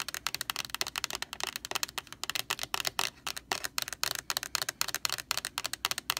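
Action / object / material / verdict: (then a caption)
tap / large plastic laundry sanitizer jug / plastic / none. Long orange nails tap rapidly on the bare white plastic side of a large, hollow Lysol laundry sanitizer jug. About 32 quick, dry clicks sound bright and crisp, with almost no low end and no ring after each tap.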